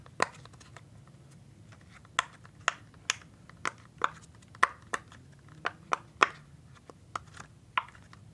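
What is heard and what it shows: Fingertips press and pop the hollow bubbles of a hand-sized rainbow silicone pop-it fidget toy sheet. Fifteen short, dry pops land at uneven intervals, each centered around 1.1 kHz with a bright snap on top and almost no ring. Faint softer clicks sit between them over a quiet background.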